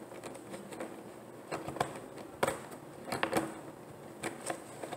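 Long painted nails tap on a large, clear, ribbed plastic water jug that lies empty and hollow on its side on a table. Quiet, irregular, sharp clicks each ring briefly with a hollow, mid-pitched tone over a faint steady hiss.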